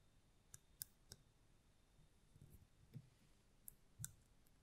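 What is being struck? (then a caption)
Small glass votive candle holder. A small, hollow, round red mosaic-glass votive holder with a lit candle inside is held in one hand and tapped with the long nails of the other. The taps come as quiet, sharp, bright clicks that die away almost instantly, a few with a soft low thud underneath, spaced irregularly over a faint background hiss.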